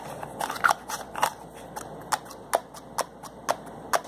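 Fingers twist and rub the plastic cap of a slim white plastic bottle with a label. The result is a quick series of short, dry clicks and ticks with bright edges and almost no low end, crowded at first and then spaced at steady intervals.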